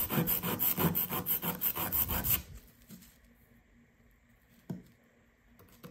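A hand with red nails holds a fist-sized solid blue plaster excavation block from a gem-dig kit on kraft paper and scrapes it with a small blue plastic digging tool, making a fast run of gritty, rasping strokes with a bright hiss for about two and a half seconds. Dust and crumbs break off. Then it goes quiet, with one short tap and a faint brush near the end.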